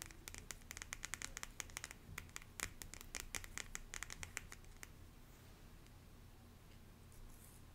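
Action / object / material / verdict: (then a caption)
tap / small stack of cardstock cards / cardstock / none. Long nails scratch and tap the face and edge of a small hand-held deck of cardstock cards with a floral wreath print. A rapid run of crisp, bright clicks and scratches lasts about five seconds, then it falls quiet, leaving only a faint low background hum.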